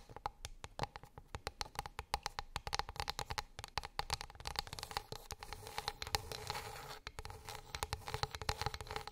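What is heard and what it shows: Long pink acrylic nails tap and scratch across a flat, light, solid wooden plate or board lying on a fluffy rug. Quick, dry clicks with almost no ring come in uneven bursts, with a faint woody tone around 800 Hz. Through the middle, they blend into a denser, bright scratching hiss.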